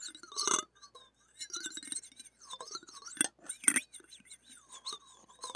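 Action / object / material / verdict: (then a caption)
scrape / wire-mesh microphone grille and stainless steel scraper / stainless steel / none. A stainless steel spatula blade scrapes and clinks against a small, hollow, steel wire-mesh mini microphone grille held in the fingers. Bright, crackling metallic scratches come in short bursts separated by quiet gaps, with a few sharper, louder clinks standing out.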